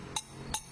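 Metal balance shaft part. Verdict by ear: Solid.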